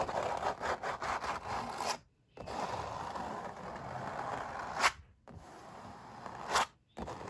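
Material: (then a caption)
Canvas. Fingertips rub and scratch the paint of a stretched, painted oil-painting canvas while a metal ring is worn on the hand. A dry, papery scraping in the mid range, with quick strokes at first, gives way to longer continuous rubs broken by short silences. Two sharp, bright ticks stand out near the ends of the rubs.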